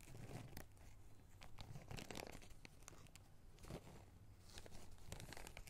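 A small clear plastic zip-lock bag of small red rubber rings is pinched, crinkled and lightly shaken with the fingers, so the rings shift around inside. The result is a steady run of soft, dry plastic crinkles and rustles with brief crackling bursts over a low rumbling undertone.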